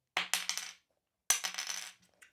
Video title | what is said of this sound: Three ESSENTIALS for Sony A6700 - Accessories | feels solid it sounds solid